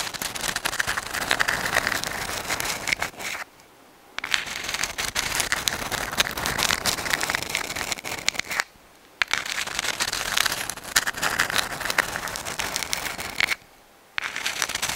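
A dried white sand dollar, a palm-sized, thin, flat and hollow calcium carbonate skeleton held in both hands near the microphone, is scratched with long acrylic nails. The result is a dense, bright, crackly scratching with a papery rasp centered around 1.8 kHz and almost no low end. It stops for three brief silences, around 3.5, 8.7 and 13.6 seconds.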